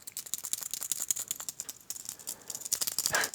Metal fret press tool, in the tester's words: shake it, it rattles because the tolerances are so terrible